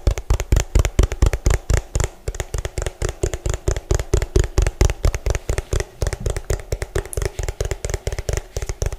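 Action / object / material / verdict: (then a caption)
tap / hollow plastic food container / plastic / none. Both hands tap the ridged base of an orange hollow plastic food container, bottom facing the mic, with fingertips and nails. The result is a fast, uneven flurry of short, dry, hollow thumps with a deep body and faint bright nail clicks. Each tap dies away almost instantly, with no ring.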